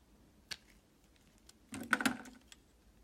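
A solid purple oval Orca bar soap is held in the hand and cut into thin slices with a red utility knife. A sharp crisp click comes first, followed by a denser burst of scraping, crackling cuts and a final small snap.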